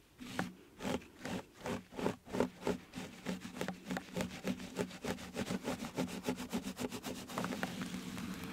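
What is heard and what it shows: Fingertips of both hands rub and scratch a round, black, soft and porous foam windscreen fitted over a microphone. Close, breathy scraping strokes start as slower, separate swells and then speed up into a quick, steady rhythm. A low hum underlies the strokes and a bright, hissy texture runs above them.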